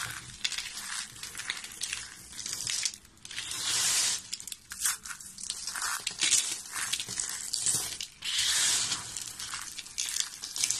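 Small, solid, mixed-colour dry soap crumbs are squeezed and crushed in fists with long nails. The result is a dense, bright crunching and crackling made almost entirely of high frequencies. The sound swells into longer, louder grinding surges at about 4 and 8.5 seconds.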